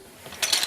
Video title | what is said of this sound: Paname, autour de la place Clichy | c'est joli, hein, regardez, ça sonne. Déjà, ça fait du son.